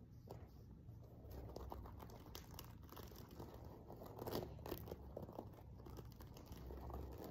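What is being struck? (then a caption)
Sequin-covered fabric cushion. Fingernails scratch and tap the surface of a silver sequin-covered fabric cushion, making a quiet, continuous crinkly rustle with soft, short clicks scattered throughout. The sound stays low and close over a steady low background hum, with brief bright ticks where the nails catch the sequins.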